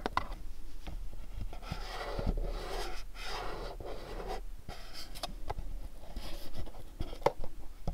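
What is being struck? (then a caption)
Small cardboard box. A pink cube-shaped cardboard candle gift box is turned in the hands, tapped, and scratched with fingernails. Soft, dry rubbing and scraping fill the clip, broken by short, sharp taps over a steady low rumble.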